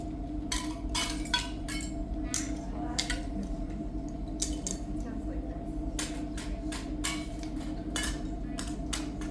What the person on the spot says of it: It looks like glass sounds like glass because it is volcanic glass.